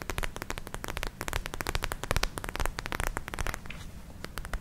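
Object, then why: Soft plastic gel ice pack. A palm-sized, soft, clear purple plastic gel ice pack filled with glitter beads is scratched and tapped with long nails in both hands. Rapid, dense crackling taps and scratches run throughout, with a deep low thud under each tap and brief bright clicks on top. The sound eases slightly toward the end before a few final taps.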